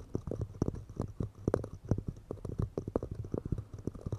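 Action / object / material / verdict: tap / pine wood cups / pine wood / none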